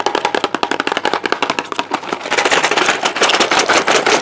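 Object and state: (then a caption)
Cardboard medicine box. A small, hollow, white and teal cardboard ibuprofen box is held in the hand and tapped rapidly with the fingertips. The result is a fast, uneven stream of dry, papery taps with no low end and almost no ring, growing denser and louder in the second half.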